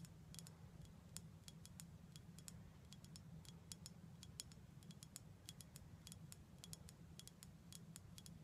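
Long black acrylic nails tap rapidly and irregularly on a full-looking dark glass syrup bottle with a gold foil neck and a label. Each tap is a short, sharp, bright click that dies away almost instantly, over a steady low hum.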